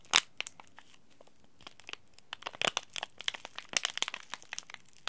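A small green laminated plastic-foil tea bag packet, held flat in the hand, is scratched and rubbed with the thumb and fingernails. This produces a quiet, irregular series of sharp, bright crinkles and crackling ticks, with a louder crackle near the start and a busier flurry in the second half. The sound is thin and crisp, with almost no low end and each tick dying away instantly.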